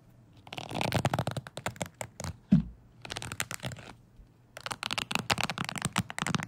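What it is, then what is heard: Wooden hair brush bristles being scratched and flicked. A wooden hair brush with bristles, held horizontally, has its bristles scratched and flicked with fingertips. Bursts of dry, rapid crackling and bristly scratching come in three clusters separated by short pauses, with one louder, deeper thump partway through. The result is a close, textured rustle that is bright on top with a soft low body.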